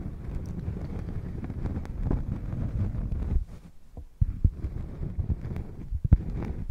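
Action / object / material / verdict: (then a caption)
scrape / thin round cork coaster / cork / none. Long painted nails scratch across the face of a thin, round, solid cork coaster held against a furry microphone windscreen. The result is a dense, muffled, bass-heavy rumble of scraping with almost no high end. It briefly drops quiet partway through, then resumes with a few sharper low thumps mixed into the scratching.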